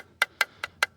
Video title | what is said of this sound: СТУК МОНЕТКОЙ ПО КАРБОНУ. ТРЕЩИНА ИЛИ ПРОСТО ЦАРАПИНА? ПРОЭКТ «ЭГОИСТ» ЧАСТЬ 2 | простукивая раму, мы видим, что к центру у нас идет, ну, тоньше слой карбона